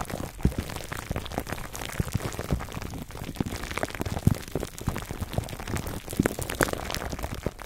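Fingertips of both hands scratch clear plastic cling wrap stretched over a black foam microphone windscreen. The result is a dense, continuous crackle of short crinkling pops and rustles, heavy in the low end with a few sharper snaps standing out.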